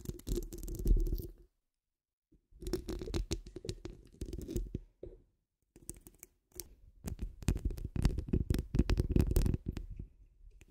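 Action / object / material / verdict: scrape / steel wire-mesh microphone grille / steel mesh / none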